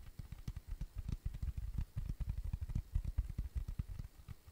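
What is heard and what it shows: A round, flat, tan cork coaster, thin and solid, is tapped and scratched with fingertips and nails. It makes a quick, steady run of soft, dull, low thuds, each dying away almost at once, with faint scratchy rustle between them.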